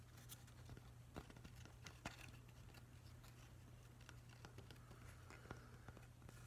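Fingernails tap and scratch along the grain of a solid, weathered driftwood plank held in both hands. Soft, dry crackling scrapes are broken by a few sharper, brief taps that die away almost at once. A steady low hum sits underneath throughout the quiet clip.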